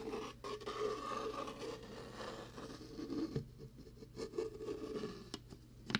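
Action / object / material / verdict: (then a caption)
scrape / plastic shaker bottle / plastic / none. A translucent, ribbed, hollow plastic shaker cup with a blue lid has its ridged side scratched and rubbed with the fingertips. This produces a continuous dry rasping and scraping, with a few sharper clicks near the end. A faint low hum sits underneath throughout.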